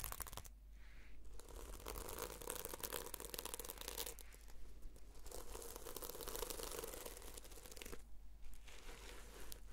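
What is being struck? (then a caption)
Notebook with plastic sequin cover. Long nails scratch and brush the plastic sequins on the fabric cover of a red sequin notebook held upright. The result is a dense, bright, crackly rasping, like crinkling, with brief pauses near the start, around four seconds, and near eight seconds. A steady low hum runs underneath.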